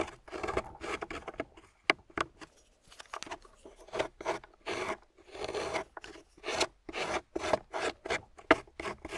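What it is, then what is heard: Wet clay block scraped with a loop tool. A solid, water-soaked grey clay block held in the hand is scraped with a metal loop tool. It makes a quick series of short, dry, rasping scrapes with a gritty midrange and a bright edge, separated by brief pauses.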